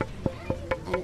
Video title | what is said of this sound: the mistress of the violin | hold onto the instrument and tap tone the instrument. And it develops a certain tone.